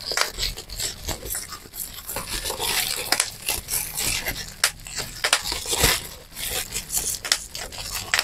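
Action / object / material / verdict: tap / plastic bubble wrap / plastic / none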